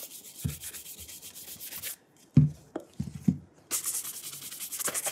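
A burgundy leather cap-toe dress shoe with a rubber sole is held in hand while its upper is brushed back and forth with a horsehair brush. Quick, steady bristly swishes with a hiss give way to a short pause and a few soft low knocks, then the brushing resumes, brighter and faster.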